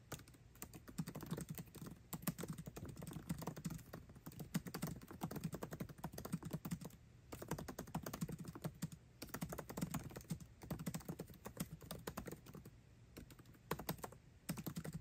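Fingertips type fast on a MacBook Pro laptop keyboard with plastic keycaps set in an aluminum body. The result is a steady, dense stream of short, dry key clicks with a low, soft thump to each press. The typing breaks off in brief pauses around 7, 9 and 13 seconds.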